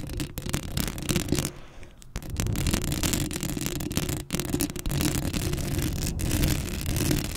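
Long acrylic nails scratch across a black metal mesh microphone head, making a dense, continuous scraping and crackling with heavy low rumble under a bright, gritty hiss. The scratching briefly eases around two seconds and drops out for a moment just past four seconds before resuming at full strength.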